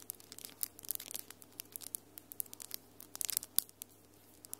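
Long, solid acrylic nails with glitter polish tap and scratch against each other in a quick, irregular run of sharp, bright clicks, which cluster more densely near the end. The clicks are short and dry, with a faint steady low hum beneath them.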